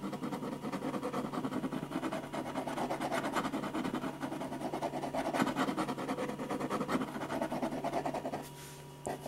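A metal ballpoint pen, held low and flat, rubs rapid back-and-forth hatching strokes across a large sheet of white drawing paper resting flat and solid on a firm board. The result is a dense, continuous scratching with a quick rhythmic pulse over a faint steady low hum. The strokes drop away near the end, leaving a quieter stretch before one last brief scratch.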